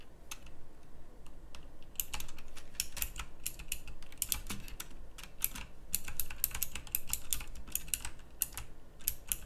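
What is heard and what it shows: Long fingernails type continuously on a full-size backlit pink mechanical keyboard with round plastic typewriter-style keycaps. The result is a steady stream of quick, bright, clicky key strikes over a low background hum, with denser bursts in places.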